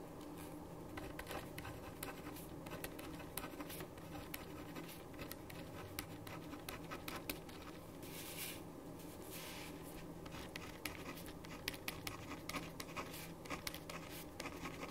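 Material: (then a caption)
Paper. A black ballpoint pen writes in scratching strokes on a white sheet of paper lying flat on a wooden desk, with the sheet held down by the left hand and the pen in the right. Soft, continuous scratching runs throughout at a steady, quiet level, broken by many small, bright ticks from the pen strokes. A faint steady hum sits underneath.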